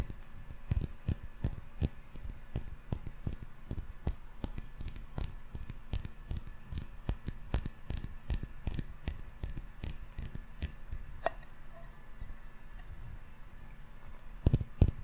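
A small glass jar candle filled with solid yellow wax, with a metal screw lid, is held in one or both hands close to the mic. Fingertips and short nails tap on the glass sides and the lid rim. The result is a quick, irregular stream of short, sharp clicks with soft low thumps and almost no ring.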